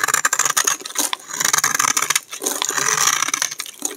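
A hand-sized solid bar of dry green soap, held in the hand, is shaved with a utility knife blade in repeated scraping strokes, sending curled flakes falling off. Dry, crisp scrapes and crackly rasps follow one another quickly, with most of the energy high and bright and a clear tone near 1.7 kHz, while a brief quieter gap breaks the run midway.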